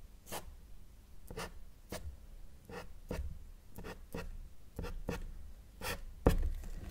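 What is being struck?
Felt-tip marker on a paper sheet.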